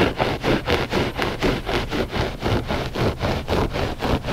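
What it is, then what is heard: Looped carpet rug being scratched. Short fingernails scratch a flat gray loop-pile textile rug, solid and soft. Rhythmic, rough scraping strokes come about twice a second as a dry, noisy rasp with a low rumbling body and little brightness.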